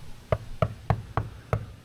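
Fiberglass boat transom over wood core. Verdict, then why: Solid. Six short, dull knocks land on a fiberglass boat transom at a steady pace, each a low thud with almost no ring. This spot of the transom sounds solid and is not too bad.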